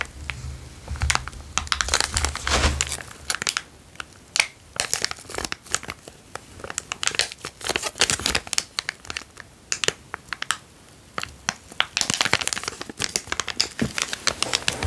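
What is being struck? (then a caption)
Small plastic zip-lock bag. A small, empty, transparent zip-lock plastic bag is held between the fingers and crinkled and squeezed with the fingertips. Dense bursts of sharp, bright crackling and crinkling come in uneven waves with brief quieter pauses, each crackle dying away almost instantly. A faint low hum sits under the first few seconds.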